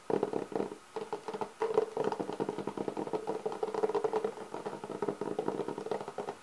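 A black, leather-textured hollow hard-shell clarinet case has its lid rubbed, scratched and tapped by both hands with nails and fingertips. The sound is a dense run of quick, dry scratches and light taps. It has a hollow midrange resonance around 440 Hz that rises and falls in uneven bursts.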